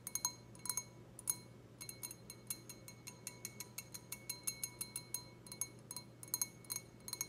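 A clear, empty, hollow stemless wine glass with a white logo, held in hand, is tapped with long red acrylic nails. The result is a rapid, irregular series of bright, glassy clinks with very short ring, several bursts bunched close together, over a quiet low hum.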